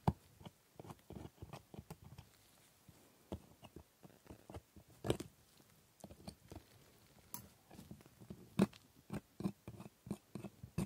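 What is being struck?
Plastic dental model teeth scraped with a steel scaler.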